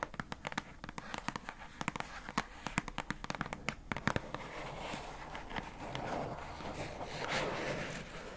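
Long nails tap quickly on the paper-labelled front of a hollow, pink, rectangular plastic squishy storage box, producing about 29 sharp, dry clicks that stop almost instantly. After about five seconds the separate taps blur into a denser, softer scratchy rustle.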